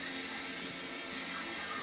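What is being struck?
Nothing is struck.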